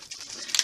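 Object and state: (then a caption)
Spray ink bottle rattling as its mixing ball moves. A bottle of Evergreen Bough spray ink, its nozzle covered, is shaken until the mixing ball inside rattles, showing the ink is being mixed. Three sharp, bright rattling clicks sit over a faint hiss, and the last one is the loudest.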